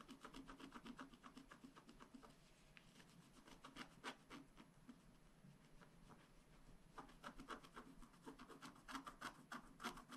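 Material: Coated paper.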